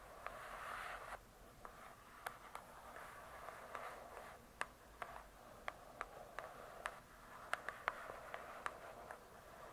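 Long nails scratch and tap the glossy cardboard cover of a large, closed hardcover book. Soft, hissy scratching swells in the first second and returns quietly between taps. About seventeen short, dry, bright clicks are spread across the clip, each dying away almost instantly at a low overall level.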